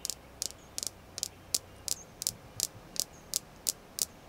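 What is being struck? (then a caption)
Small polished jasper stone tapped with fingernails. A small, solid, polished red jasper star is tapped with long nails in a steady run of about twelve quick, dry clicks. The taps are bright and high-pitched and die away almost instantly, over a faint low hum.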